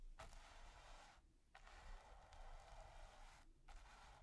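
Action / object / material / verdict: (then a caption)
scrape / bristle brush on textured primed canvas / canvas / none. A bristle brush with a wooden handle is swept and scratched over a flat, taut, textured primed canvas, some strokes partly out of reach. Long, quiet, dry bristly scrapes with a bright hiss run in sustained passes broken by brief pauses, over a faint low rumble.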